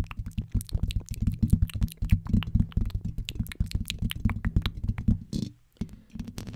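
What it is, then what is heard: Metal mesh microphone grille tapped and scratched with nails. Long pink acrylic nails tap and scratch the hollow black metal mesh grille and upper body of a blue studio microphone. Rapid, close-miked taps produce dull, bassy thumps mixed with short scratchy rasps. A brief silence falls near the end before the tapping resumes.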